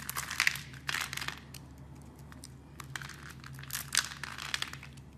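A metal blade carves scored cubes off a solid, hand-sized yellow soap bar, producing bright, crisp crumbling and crinkling scrapes in short bursts. The cube pieces break away with dry crackles, and a faint low hum sits steadily beneath them.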